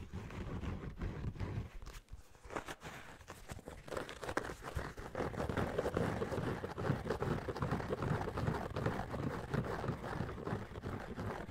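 Fingertips and nails scratch and rub the yellow knit mesh upper of a running shoe with a white foam midsole. The result is a dense, continuous scratchy rustle weighted toward the low end, dipping briefly quieter around two to three seconds before settling into a steady, busy texture.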